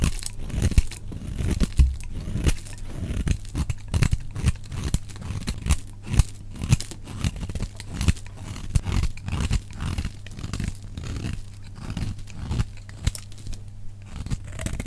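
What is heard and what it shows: A solid, dry, oval yellow bar of soap held in the hand is shaved into curls with a metal utility knife blade. A rapid, continuous run of short, crisp scraping and crunching strokes is heard, each dry and dead with no ring, weighted toward a dull low thud with faint bright edges.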